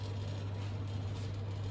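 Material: Nothing is struck.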